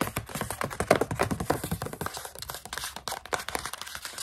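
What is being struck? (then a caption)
Plastic snack pouch with food inside. Long nails tap and scratch quickly and irregularly on a partly full plastic pouch of coconut strips. The result is crisp, dry ticks and scratchy rasps, mixed with some crinkling of the plastic, all with almost no ring.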